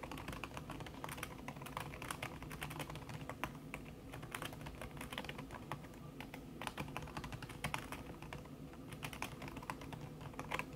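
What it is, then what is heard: Laptop keyboard with silicone cover, fast typing. Fast typing on a backlit laptop keyboard in a silver aluminum body, its keys covered by a thin red silicone skin, tapped quickly by fingertips with long red nails. A steady stream of soft, muffled key clicks with short bright ticks plays over a low background hum. Each tap dies away quickly.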